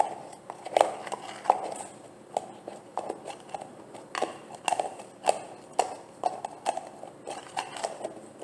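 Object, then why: Large plastic jar. Long nails tap and scratch the bottom and sides of a large, green, translucent plastic jar of olive oil gel that looks full. Sharp, hollow clicks with a mid-range tone come at an irregular pace and die away almost instantly. Soft, bright scratching fills the gaps between them.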